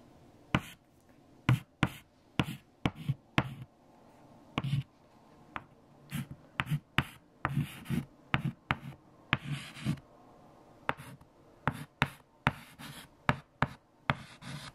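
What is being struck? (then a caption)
White chalk on a chalkboard. Fingertips hold a stick of white chalk and write multiplication lines across a large, flat, freshly erased black chalkboard. The chalk makes 21 sharp, quick taps and short bright scratches against the board. A faint low hum runs underneath.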